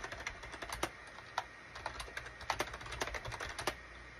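Fingertips type on a full-size gray and beige SHIPADOO K600 wired USB plastic keyboard with hollow plastic keycaps. The result is a fast, irregular run of light, clicky keystrokes that stop short, with a few sharper, louder taps standing out. A faint steady tone sits underneath.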